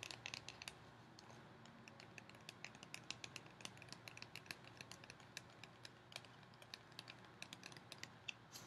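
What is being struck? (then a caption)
Cardboard snack tube with plastic lid. A tall, hollow cardboard Pringles tube with a plastic lid is held upright and tapped along its side with long painted fingernails. The result is a quick, uneven run of sharp, bright clicks with almost no ring, centered around 2.7 kHz, over a quiet, steady low hum.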